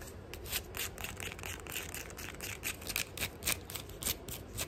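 Fingernails scratch and tap the black and maroon synthetic straps and tan footbed of a flat sandal held in the hand. Fast, uneven bursts of dry, bright scratching mix with short, crisp taps that stop dead with no ring, over a low steady background rumble.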